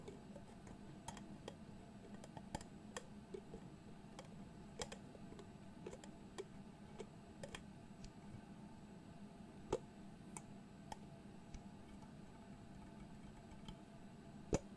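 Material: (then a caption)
Metal, glass. Fingertips rotate the dark metal screw lid of a medium glass jar with pale contents on its threads and tap the lid's top. The result is rapid, irregular, dry ticking and clicking, with sharp bright transients that die away almost instantly over a steady low hum.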